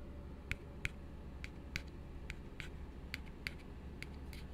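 An empty, hollow plastic drinking cup is held and turned in the hands while fingertips and nails tap and scratch quickly on its sides. Short, dry, bright clicks ring at irregular intervals with almost no decay. A steady low hum runs underneath throughout.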